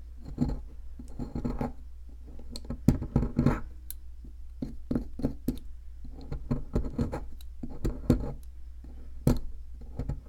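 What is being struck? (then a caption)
Plaster excavation block scraped with a metal pick. A metal pick scratches and chips at the powdery center of a solid white, palm-sized plaster fossil dig block. Dry, gritty scrapes alternate with short, sharp chipping clicks over a steady low hum. The bursts come in uneven clusters as the plaster crumbles away.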